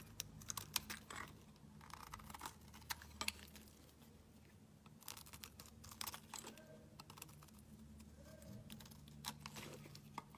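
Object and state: Bar of soap being shaved.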